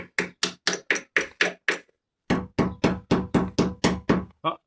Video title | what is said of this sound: Je refait la carrosserie de ma Peugeot 205 je commence le ponçage Episode 8 | ça sonne encore bien. C'est pas croustillant comme j'avais peur au début.